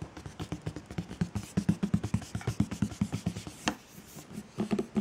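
Fingertips and painted medium-length nails tap and scratch the top and side of a large, hollow white Chanel cardboard gift box with black edges and its lid on. A rapid, uneven series of short, dull, hollow thumps sits low, around 170 Hz, and dies away almost instantly. A single brighter, scratchy click cuts through partway along before a final flurry of taps.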